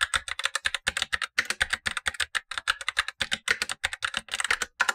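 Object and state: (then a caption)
Plastic mechanical keyboard with tactile switches. Blue-gloved fingertips type steadily on a Razer BlackWidow Lite, a tenkeyless mechanical keyboard with black plastic keycaps and tactile switches, the upper of two keyboards, while the lower keyboard stays untouched. A rapid, continuous stream of crisp, short plastic clacks is heard, each dying away almost instantly, with a bright tone centered around 1.5 kHz and almost no low end.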